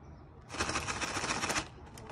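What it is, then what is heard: Full crisp packet, shaken. A filled, personalised crisp packet (chip bag) with a handmade glossy paper wrap, made for the Barbie movie premiere, is shaken to show the crisps inside. After a quiet start, a dense, bright burst of crinkling and rattling runs for about a second before fading. The wrap holds, and the shake test is approved.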